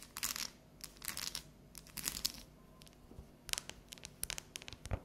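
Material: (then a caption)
Chocolate. Long natural neon nails tap and scratch the top and edge of a solid, unwrapped bar of dark chocolate that is partly lifted off the counter. The result is quiet bursts of bright, crisp scratching and sharp tapping, with short gaps between clusters.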